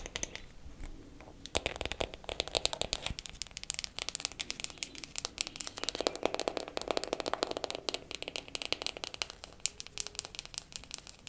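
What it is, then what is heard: Wooden makeup compact. A wooden makeup compact is tapped quickly with fingernails for ASMR. Rapid, uneven bursts of sharp, bright clicks patter continuously over a quiet background, each tap dying away almost instantly with no ring.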